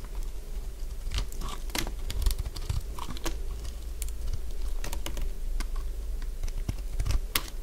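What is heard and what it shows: A solid cream-coloured bar of dry soap, held in the hand, is carved with a metal blade. The cutting gives a steady run of crunchy, crackling scrapes with sharp, dry snaps scattered through, over a low constant hum.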